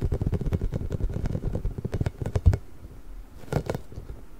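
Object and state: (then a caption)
Rubber spiky ball. A large pink hollow inflated rubber ball with nubs is gripped, scratched and rubbed with nails and fingertips. Dense, quick, low scratching and squeaking taps fill the first two and a half seconds and end in one stronger thump. A quieter patch of rubbing with a brief burst follows near 3.5 seconds.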